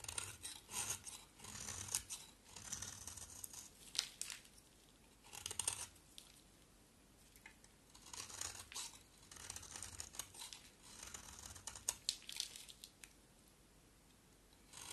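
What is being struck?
Solid soap bar.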